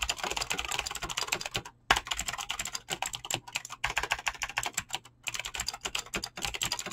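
Fingertips with short painted nails type fast on a full-size mechanical keyboard with Razer green clicky switches and pink-blue PBT plastic keycaps, resting on a desk. Dozens of rapid, bright, crisp clicks with very short decay, broken by two brief pauses.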